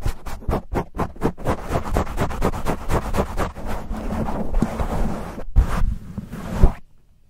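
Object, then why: Foam microphone windscreen. Aggressive fingertip and nail scratching and cupping rubs with both hands on a black foam windscreen covering a silver USB microphone. Rapid, separate scratchy bursts at first blend into a continuous, muffled, bass-heavy rubbing roar with a few thumps. It then cuts off into near silence.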